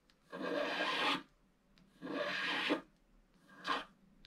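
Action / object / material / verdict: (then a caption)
scrape / wax-coated scratch art card scratched with a wooden stylus / wax coating / none. A wooden stylus scratches lines into a black wax-coated scratch art sheet lying flat, working on the lower right roof area of the picture. Three dry, raspy scraping strokes are heard, two long and one short, with faint ticks between them.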